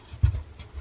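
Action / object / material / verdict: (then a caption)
knock / wall over a wooden stud / wood / solid. Knocking on an exterior wall over a wooden two-by-six stud, which has no wire running up it, gives short, dull, low thuds with almost no high content. The solid stud shows up as deep, quickly damped knocks.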